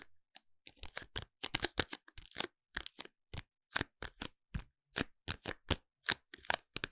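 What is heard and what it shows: A sealed, rectangular clear plastic packaging case holding a white cosmetic bottle is tapped with fingertips and short nails. Quick, dry clicky taps with a crisp, bright plastic edge come in an uneven run over about seven seconds, each dying almost instantly with no ring.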